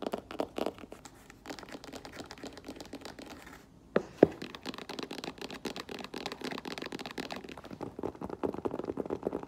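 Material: Rubber.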